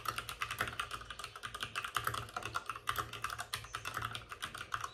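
Both hands type rapidly with short-nailed fingertips on a white full-size plastic mechanical keyboard with plastic keycaps and RGB backlighting, resting on a desk with a padded wrist rest. The result is a steady stream of short, bright plastic clacks with a tonal click near 1.2 kHz, each dying away almost instantly, over a faint low hum.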